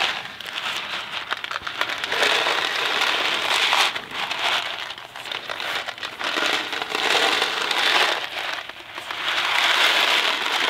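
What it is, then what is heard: Cardboard box of dry pasta being shaken. A thin cardboard Kraft macaroni & cheese box filled with dry pasta is held in two hands, then one, and tilted and shaken. The dry pasta gives a bright, gritty rattle and swish that swells and fades in repeated waves, with most of its energy in the upper mids and almost no low end.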